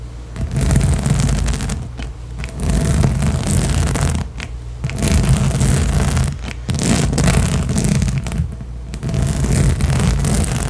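Long nails on both hands scratch and rake fast across the nubs of a large, hollow, blue inflatable rubber/PVC spiky balance cushion. The result is a dense, continuous, low rumbling scrape with a faint bright hiss on top, broken by a few brief dips where the strokes pause.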